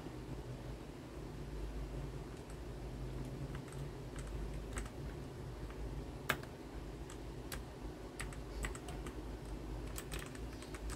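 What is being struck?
Plastic mechanical keyboard keys.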